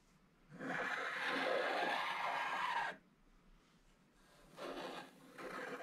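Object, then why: Wax-coated foil paper scratch card. A wooden stylus scrapes away the black wax coating of a small, flat scratch-art card held in one hand, exposing a vertical strip of gold foil while black flakes pile up at the card's edges. A long, steady, rasping scrape is heard, followed by a pause and then two shorter scraping passes.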